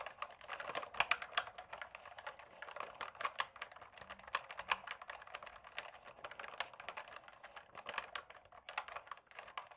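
A black plastic mechanical gaming keyboard is held steady while fingertips tap rapidly on the keycaps at its left and right edges, producing a dense stream of many key clicks. The clicks are short, dry and bright, with almost no low end and very little ring, at a fairly quiet overall level.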